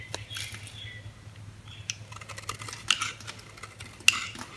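A metal utility blade scrapes and cuts slivers from the surface of a solid, hand-sized green oval bar of soap held in the palm. Soft, bright scratching and crisp cutting sounds are heard, with several sharper clicks standing out over a low steady hum.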